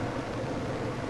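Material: Nothing is struck.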